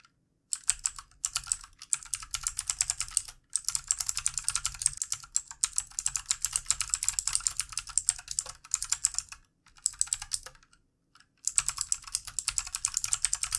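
Fast two-handed fingertip typing on a full-size backlit plastic mechanical keyboard with plastic keycaps. The bright, sharp keystrokes come in quick bursts separated by brief pauses. Each click is short and dry with almost no low end.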